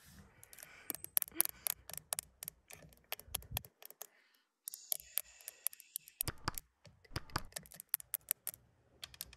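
Long acrylic nails tap and scratch the exterior side mirror of a classic Mercedes 200, a flat glass mirror set in a plastic housing, while the hand rests flat on the glass. Rapid, dry, bright clicks ring out with almost no decay, broken by a short pause and a stretch of hissy scratching before the tapping resumes.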